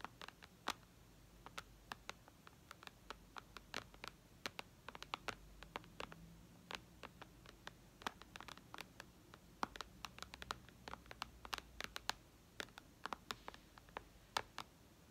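Long red nails tap the glass screen of a white iPad lying flat, ending with only one hand tapping. The result is a quiet, irregular stream of short, sharp, bright clicks that stop instantly with no ring, over a faint low hum and no voice.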